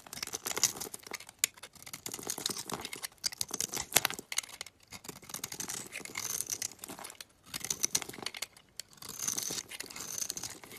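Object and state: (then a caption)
Olive oil bar soap being scraped. A metal utility knife blade scrapes powdery flakes off a solid, palm-sized green Dalan olive oil bar soap held in the hand. The result is a dry, bright, crackly scraping, heard in several bursts of quick strokes with brief quiet gaps between them.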